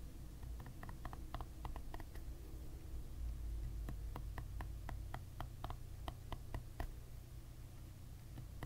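A short fingernail scratches and taps across the brown ribbed, rubbery plastic grip on the handle of a hairbrush lying on a white surface. This makes quick, irregular, dry clicks and ticks with bright, crisp edges that die away almost instantly. The taps sit over a quiet, steady low hum.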